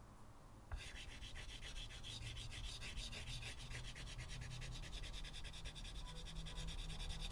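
A white chalk stub held in the fingertips scratches and rubs dense, short strokes onto a solid, flat blackboard set in a wooden frame. After a brief quiet start, the drawing begins abruptly with rapid, steady, gritty rasping strokes that carry a bright, hissy edge over a low background rumble.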